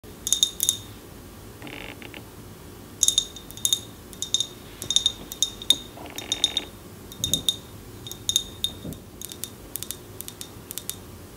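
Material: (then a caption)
Glass. Long painted nails tap a hand-held tall glass jar candle with a printed label, filled with solid wax. The result is a quick, irregular series of bright clicking taps with a clear high glassy ping near 3.7 kHz that dies away almost instantly. Two brief soft rustling scrapes occur between the taps.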